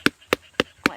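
A second jackfruit is tapped four times for comparison; it gives short, dry knocks with a low-mid tone and brief bright clicks. This fruit is a little less ripe, younger and ready to be picked and eaten.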